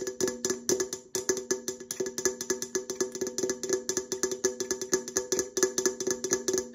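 An opened, hollow red Coca-Cola aluminum can is held close and tapped and scratched with long nails on its side and lid. A quick, irregular stream of light, bright taps rings briefly with a hollow tone around 375 Hz, and scratchy high-end texture runs between the taps.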